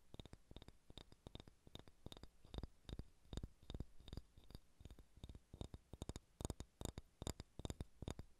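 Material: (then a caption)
Wood. Fingernails scratch and tap a solid ball of pale pine wood, making quick, irregular clicks with short, dull low thuds and a bright ticking edge. Soft scratching fills the gaps between taps, and each tap dies away almost instantly.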